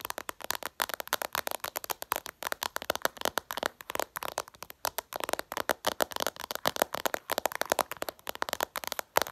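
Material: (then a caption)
Glass. Long purple nails tap quickly and hard on the reflective glass screen of a flat smartphone, producing about fifty sharp, dry clicks in irregular rapid bursts. Each tap is bright with a midrange body around 900 Hz, almost no low end, and dies away instantly.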